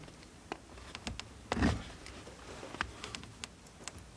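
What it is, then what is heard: Bar of soap being scraped. A steel multitool knife scrapes shavings off a solid blue bar of soap held in the hand. Short, bright scraping ticks are scattered across the clip, with one longer, louder, fuller scrape in the middle, over a quiet background.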